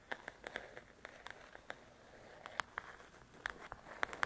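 Long nails tap and scratch the glossy cover of a large, flat paperback coloring book, while a recorder sits in the foreground untouched. About 17 quiet, crisp ticks land at uneven intervals, centered around 1.6 kHz with bright edges. Soft scratchy rustling fills the gaps between the taps.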